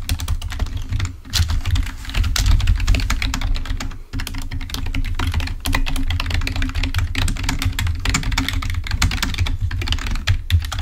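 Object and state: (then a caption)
Plastic computer keyboard being typed on. Fingertips type rapidly on a full-size, wired, black plastic Microsoft membrane keyboard lying on a white table. A dense, steady stream of quick, dry key clicks carries a deep low thump underneath, with a brief lull near the four-second mark.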